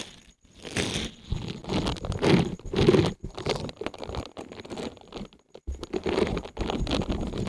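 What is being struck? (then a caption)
Silicone scrubber pad. A small, thin, solid green silicone scrubber pad covered in flexible bristles is held in both hands above the mic and bent, squeezed and rubbed with the fingertips, flexing the bristles. This produces dense, irregular bursts of soft crunching, scraping and rustling, mostly low and midrange with a faint bright hiss, broken by brief pauses.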